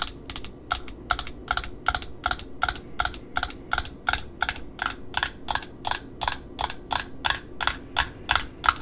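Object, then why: Satin ribbon wound on a small cardboard spool. Long metallic nails tap and scratch on a small spool of black satin ribbon, striking both the glossy wound ribbon side and the cardboard disc. The result is a steady, fairly even run of short, crisp clicks, about nearly three per second, with a bright edge and almost no ring. A soft scratchy hiss sits underneath the taps throughout.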